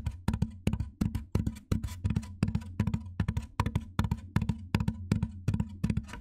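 Fingernails tap and scratch along the top edge of a large, white, hollow styrofoam box. Quick, fairly irregular taps land as short, hollow low thumps with little ring, each trailed by a faint, dry scratching rustle.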